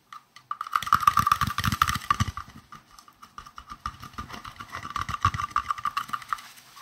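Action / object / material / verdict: tap / round translucent plastic case / plastic / none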